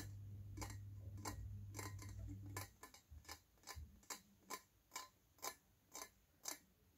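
Fingernails tap a small, shiny, hollow stainless steel teapot with a lid, held in the hands. The taps are bright and short and come in an uneven rhythm. A steady low hum sits under the first few seconds, then drops away, leaving the taps clearer against near silence.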